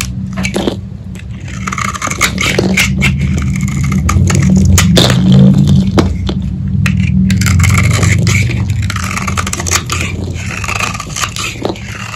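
A hand-sized solid purple bar of dried Lux soap, held in the palm, is scraped and shaved with a metal utility-knife blade, and crunchy flakes pile up on the table. Rapid, fairly regular crunchy scraping strokes, about three or four per second, bring sharp bright crackles over a steady low rumble.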